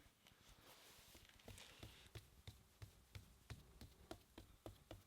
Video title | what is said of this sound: Curtis Cab Long Term Review and Winterizing Equipment | And I'm getting a fluid sound. Fluid really shouldn't be up this high.